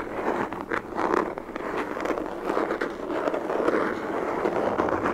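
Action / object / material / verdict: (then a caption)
scrape / molded hard plastic case / plastic / none. A black, hollow, molded hard plastic pistol case is held in both hands and scratched and tapped with long fingernails along its ribbed surface. The result is a steady, dense, scratchy crackle in the midrange, broken by quick, short taps with almost no low rumble.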